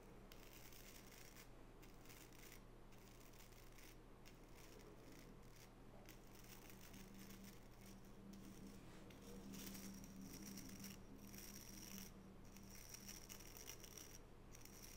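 A small oval wooden nail brush with natural bristles is held bristles up while long natural fingernails scratch and flick across them. The result is a steady, dense, crackly scratching over a low hum, with a thin high tone coming through in the second half.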